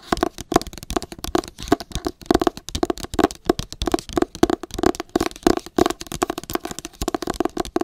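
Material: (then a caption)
Cardboard, paper. Long acrylic nails tap rapidly on the matte paper cover of a solid, pale green hardcover book held in both hands. A dense, irregular run of dry, quick clicks with a hollow midrange knock and almost no ring. The tapping continues steadily at a fairly even level throughout.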